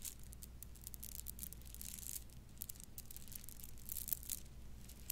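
A bundle of purple plastic bead necklace strands is scrunched in the hands, shaken and dangled. Soft, bright clicking and rattling comes in quick bursts over a steady low hum, and the clip stays quiet throughout.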